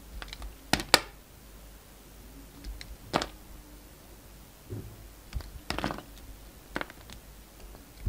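A steel utility knife blade scrapes and slices thin shavings from a solid, hand-sized black-and-white striped bar of soap held in the hand. About six short, crisp, bright scrapes and cuts come at uneven intervals, separated by quiet pauses. Each one dies away almost instantly.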